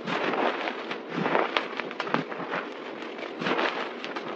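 Hands press, squeeze and scrunch a crumbled pile of white, crushed dry soap powder on a table with fingertips and palms. The result is a steady, dense crackling crunch with little low end, swelling in waves and punctuated by brief, sharper crackles.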